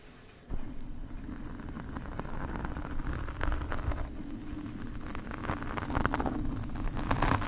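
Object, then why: Foam microphone windscreen scraped by metal forks. Two metal forks scratch across the top and sides of a black foam microphone windscreen. After a quiet first half-second, a dense, irregular stream of scratchy rustling begins, heavy in the low end with short, sharp scrapes that grow slightly louder toward the end.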